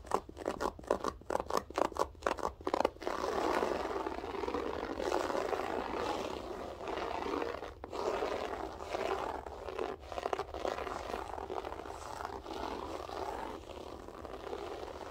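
Long acrylic nails pick at and scratch the textured loops of a flat beige loop-pile floor carpet. A quick run of short, separate raspy strokes gives way to steady, dense scratching with a dry, crackly midrange texture and occasional brief pauses.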